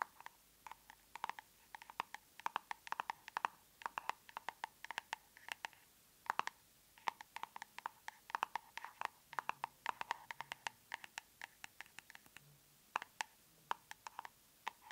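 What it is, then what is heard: Plastic cosmetic tub. Long nails tap and scratch on the lid and rim of a large, round plastic tub of aloe soothing gel. Quick, dry clicks come in irregular bursts with faint scratching between them, each click short with a hollow plastic tone around 940 Hz and some bright edge. The whole clip is quiet and close, with no low end.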